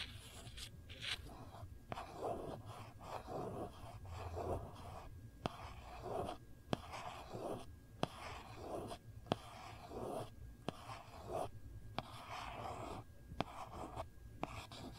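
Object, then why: Hard plastic phone case. A long fingernail traces and scratches across the back of a hard plastic phone case, making a soft, rasping scrape that swells and fades in uneven strokes. About a dozen sharp, brief clicks cut through the scratching as the nail catches or taps the surface, all at a low, close level.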